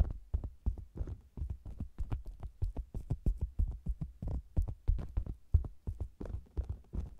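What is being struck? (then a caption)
Round faux leather cosmetics bag. With the mic inside a hollow, round faux leather cosmetics bag, its sides are tapped, then a flat hand with long nails taps and rubs the red top. The result is a quick, uneven run of deep, muffled thumps, about three per second, with almost no bright content and a low throbbing boom.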